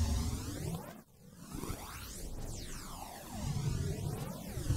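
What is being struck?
Nothing is struck.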